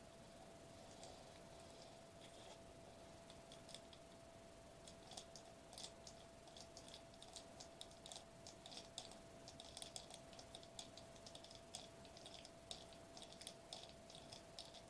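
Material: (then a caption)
Foil plastic. A silver foil-laminated bubble wrap sheet, about notebook size, is held up in both hands while fingertips pinch, press and crinkle its edges. The result is dense, quiet, bright clicking and crackling over a steady low background hum.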